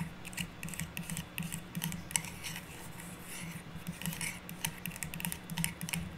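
A hollow, cylindrical stack of red, green and white metallic plastic curling-ribbon rolls on a cardboard core is held in both hands while long nails scratch and tap across the ribbon surface. Quick, irregular, bright clicks and crisp scratchy rustles come in clusters over a faint low steady hum, each tap dying away almost at once.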